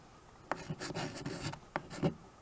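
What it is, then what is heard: Chalk writing on a framed chalkboard. A white chalk stick writes and scratches across a small tabletop chalkboard, a dark painted board in a wood-look frame. Short, dry scraping strokes with sharp starts and a bright, gritty hiss come in quick bursts, with a longer stroke in the middle, over a quiet background.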